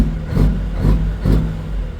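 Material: Nothing is struck.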